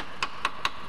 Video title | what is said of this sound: Vehicle Inspectorate (UK) - MOT Matters - Corrosion? Not a Problem! - VIV27 (2003) | good metal has a different sound and i need to emphasize it's only like tapping